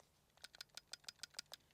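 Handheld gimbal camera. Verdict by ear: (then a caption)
Loose. An Insta360 Luna Ultra handheld gimbal camera is shaken, producing eight quick, bright clicking rattles concentrated in the high frequencies. The rattle comes from its magnetically parked gimbal parts moving, which is normal and no different from the DJI Osmo Pocket 4P.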